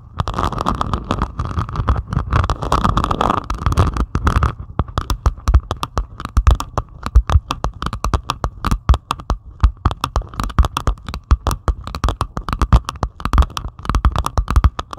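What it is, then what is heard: Diamond painting of resin drills. Long pointed acrylic nails scratch and tap rapidly across a flat diamond painting of plastic resin drills on canvas. For the first few seconds the scratching is dense and continuous; then it breaks into a fast run of short, dry, clicking taps with almost no ring. The sound sits mostly in the low, thumpy range.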